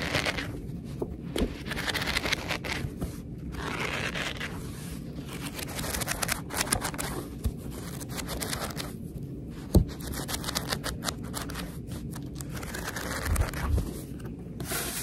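A thick paperback book with yellowed and white pages is flipped and bent while long red nails rub and scratch along the page edges. Dense papery scraping, crinkling and soft tearing-like rustles run throughout, with frequent light ticks and a low rumble underneath, in a close, quiet space.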